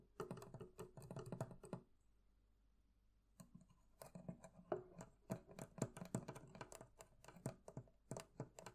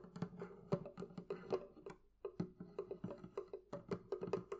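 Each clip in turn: First: metal fittings of a barrel chest. Second: wooden barrel chest.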